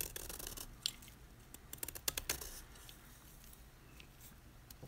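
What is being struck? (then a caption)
Magnesium carbonate chalk block. A utility knife blade scrapes the face of a solid white gym chalk block of magnesium carbonate held in the hand, leaving scalloped flakes. Dry, bright, crunchy scratches come in quick bursts, densest and loudest in the first two and a half seconds. They then thin out to quieter, sparse scrapes over a soft hiss.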